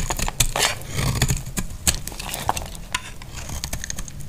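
A solid, dry white bar of soap held in the hand is carved and scraped with a utility knife blade. It produces a quick, uneven series of crisp scraping and crunching cuts with bright, sharp clicks over a low background rumble.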